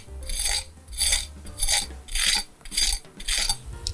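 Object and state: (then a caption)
Crispy baked chicken wing. A knife is dragged back and forth six times across an oven-baked chicken wing flat made with baking powder, giving harsh, gritty scraping strokes like a blade on concrete. A low hum sits underneath, and the wing proves very crispy.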